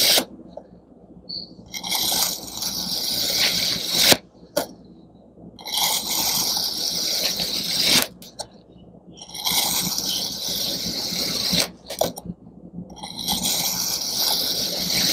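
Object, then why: Kinetic sand block cut with a serrated knife. A palm-sized block of pink kinetic sand, pressed into a mooncake mold shape, is sliced into thin layers with a serrated metal knife on a white surface. Four long, bright, gritty scraping strokes rasp through the sand, separated by quiet pauses and a few sharp clicks.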